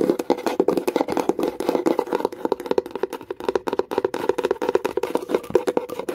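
Long nail tips tap fast and hard on the lid of a small wooden box with a metal clasp. The result is a rapid, uneven stream of short, dry, hollow clicks with a woody tone centred around 375 Hz. Each tap dies away almost instantly, with little deep bass or bright top.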